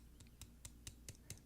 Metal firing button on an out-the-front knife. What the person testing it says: it kind of rattles like when I tap on it I mean clearly hear it